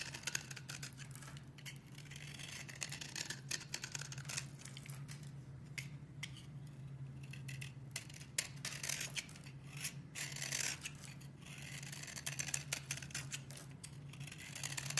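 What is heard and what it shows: A metal blade scrapes and carves the surface of a solid lilac bar of soap with an embossed logo, held in the hand, shaving off textured curls and powder. The sound is a continuous run of bright, crisp scraping with quick sharp crackles, over a steady low hum.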